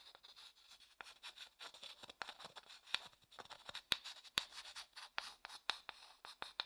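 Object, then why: Wooden bowl and wooden stick. A wooden stick stirs and scrapes inside a small, empty, light-coloured hollow wooden bowl held in one hand. The result is a quiet, bright, dry scratching with many short clicky strokes and almost no low end or ring.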